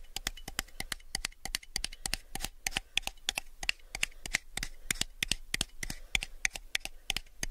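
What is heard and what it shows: A small, hollow, empty clear plastic cup held sideways close to the mic is tapped with fingertips and nails in a quick, uneven run of around 44 light taps. Each tap is a dry, bright click centered near 2.3 kHz that dies away almost instantly over a soft low rumble.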